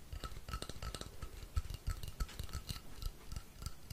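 Fingertips tap and scratch along the length of a long, hollow, painted wooden rainstick held upright. The result is a quick, irregular run of soft, low, dull thuds, each carrying a short, bright tick on top, over a faint scratchy hiss, with almost no ring after each tap.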